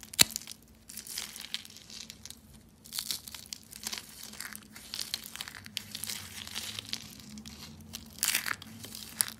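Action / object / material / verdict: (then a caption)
scrape / dry soap curls / soap / none. Rolled pink and white dry soap curls, hollow, thin and brittle, are crushed between fingertips with white nails into flakes. The sound is a run of dry, bright crinkling and crunching crackles in uneven bursts, with a sharp snap near the start and a louder flurry near the end. A faint low hum sits steadily underneath.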